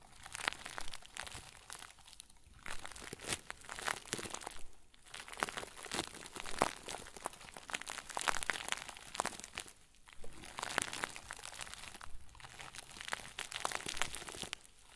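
A round white plastic bag stuffed into a crinkle ball is crumpled and squeezed between the fingertips of both hands. Dense, bright crinkling and crunching rolls on in bursts, broken by brief quieter gaps.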